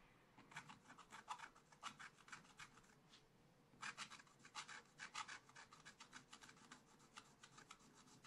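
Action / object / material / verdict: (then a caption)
scrape / coated scratch art paper scratched with a wooden stylus / coated paper / none. A wooden stylus scratches continuous strokes over the basket area of a black-coated scratch art paper page in a small spiral pad lying flat. Quick, uneven bursts of bright, dry rasping repeat over a low hum, with a brief pause near the middle before the strokes resume.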